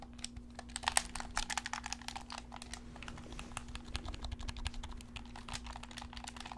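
A black handheld plastic gamepad with a hollow shell is held in both hands while fingertips and thumbs press and click its buttons and sticks. A rapid, irregular stream of short, dry plastic clicks and taps with bright edges sits over a steady low hum. The clicks die away almost instantly.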